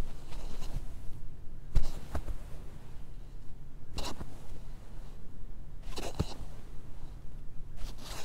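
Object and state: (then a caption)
Mannequin head with synthetic wig hair. Fingertips with short nails scratch and rake through the parting of a long black synthetic wig on a life-size plastic or vinyl mannequin head lying on red satin fabric. Soft, bright scratching bursts rise and fade over a steady low rumble, with quieter rustling of hair between them.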